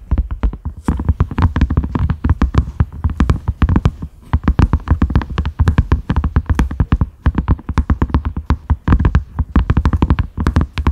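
Fingertips and nails tap rapidly on a large round cream silicone lid with concentric ridges, a side handle loop and a grey knob, resting on a dark mat. The taps come as a dense, steady stream of short, dull thuds with a deep low body and very quick decay, with lighter clicks mixed in.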